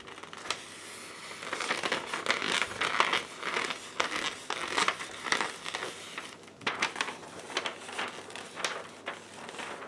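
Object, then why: Sheet of paper. A white paper sheet is held upright and bent and crinkled by hands in black lace gloves. Soft, irregular bursts of bright, crackly crinkling rise and fall over a quiet background, each crackle fading almost at once.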